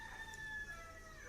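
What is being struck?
Nothing is struck.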